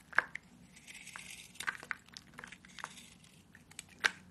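A small metal blade carves and scrapes grooves into a hand-sized, rectangular bar of dry white soap held in one hand, shaving off crumbly flakes. Short, sharp scraping cuts and dry, crackly crinkling come in quick bursts, with the strongest strokes at the start and near the end over a quiet background.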